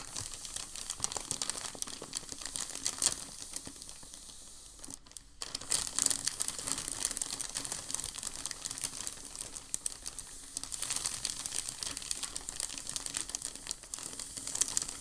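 Both hands press and rub a large, thin sheet of creased off-white packing paper lying flat on a dark table, smoothing it out with fingertips and palms. The result is a steady, dense crinkling that is bright and high, with very little low end. A brief quieter lull falls around the fourth to fifth second before the rustling picks up again.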